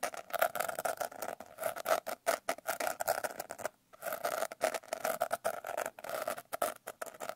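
Long painted nails scratch and tap rapidly on the rough glitter surface of a blue glitter-covered paper notebook held upright. The result is a dense run of short, dry, scratchy taps with a midrange tone around 650 Hz, no low end, and a brief pause near the middle.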